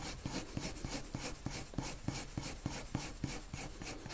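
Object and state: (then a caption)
Pencil shading on paper. A lavender colored pencil shades a circle on a white paper sheet with repeated rubbing strokes. Each quick back-and-forth stroke gives a soft, scratchy rasp with a bright hiss and a faint low thump, repeating at a steady, brisk pace.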